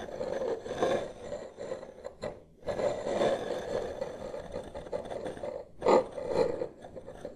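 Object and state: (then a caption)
Wooden tabletop scraped with wooden sticks. Two wooden massage sticks, held one in each hand close in front of the microphone, slowly trace and scrape across a large solid wood-grain tabletop. The result is a continuous dry, rasping scrape centered in the midrange around 500 Hz, swelling and fading with each stroke. It breaks off into short near-silent pauses a little after 2 seconds and again just before 6 seconds.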